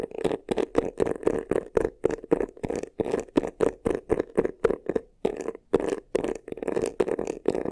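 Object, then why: Croc-textured faux leather covered box. Fingernails rapidly scratch the front of a medium black croc-embossed faux-leather vanity case, a hollow box. The result is a quick series of short, raspy scratching bursts with a hollow midrange body and bright hiss, each separated by brief pauses.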